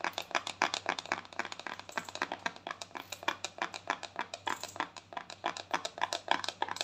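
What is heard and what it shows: A small round white plastic cosmetic jar, held in both hands, has its lid tapped and scratched rapidly with long thumbnails. About 48 quick, irregular clicking taps are heard, each short and dry with a bright scratchy edge and almost no ring.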